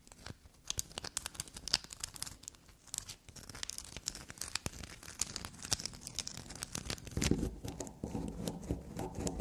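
Long black nails scrape and dig into a small solid black soap bar with a shaved surface, held in the hand and resting on a table. Quick, dense crackling scratches with bright, sharp clicks fill the clip. Near the end it thickens into a fuller, lower rustling scrape.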